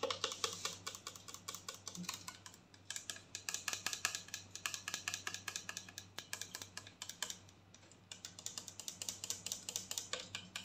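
A clear plastic mouthwash bottle with blue liquid and a black cap is tapped and scratched with long nails while being turned in the hands. The result is a steady stream of quick, bright, dry plastic clicks and scratches over a faint low hum, with short pauses in between.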